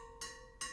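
A steel spoke on a Sur-Ron X wheel is tapped twice, giving two bright metallic pings with a high ring that fades quickly. The clear, even ring shows the spoke is properly tensioned.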